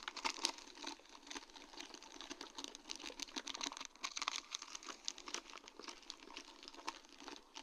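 Long dark-painted nails tap and scratch a sheet of large round faceted acrylic rhinestones on a plastic mesh backing. The result is a dense run of quick, bright clicks and crinkly scratches with almost no low end and no ring, steady throughout the clip.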